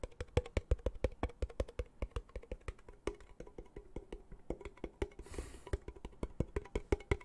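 Fingertips and nails tap and scratch the lid of a small, round, hollow blue metal tin held at the microphone. About 45 quick, dry taps land in an uneven rhythm, each with a dull low thud and almost no ring. A brief scratchy hiss sounds just past the five-second mark.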